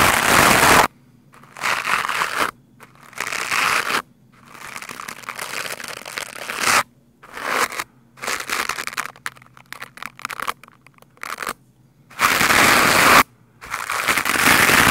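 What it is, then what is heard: Foam microphone windscreen being brushed. A lime-green plastic scrub brush is rubbed fast and hard across a black foam microphone windscreen. Loud, dense, scratchy crackling comes in irregular bursts separated by brief silences, bright and crinkly with little low end.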